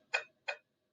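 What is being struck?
Tempered glass pane.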